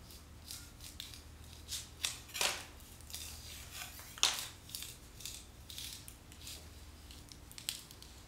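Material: Paint.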